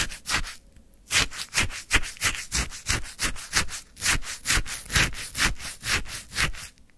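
A wooden stick scoops into icy frozen lemon sherbet in a white paper cup with a lemon slice on top. About fifteen short, crunchy scraping strokes repeat at a steady pace, each a bright, gritty burst with a faint low thud underneath. The strokes stop quickly, with a brief quiet gap near the start and at the end.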